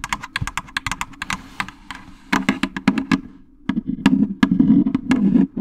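A fingernail taps quickly and irregularly on a jack-o'-lantern candy basket, making short, dry clicks with bright, crisp edges that die away almost instantly. A low, steady hum sits beneath the taps and grows louder in the second half.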